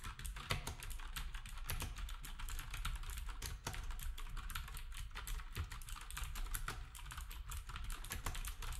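Fingertips type steadily on a black compact plastic typewriter-style keyboard with round plastic keycaps. It makes a continuous stream of rapid, bright clicks and clacks over a low, thumpy body, with no pauses over the whole stretch.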